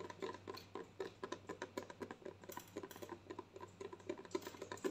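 Long nails tap rapidly and irregularly on a white plastic lotion bottle with a green cap, held up close, about four taps per second. Each tap is a short, dry plastic click with a hollow mid tone and bright ticks that die away almost at once, over a faint steady low hum.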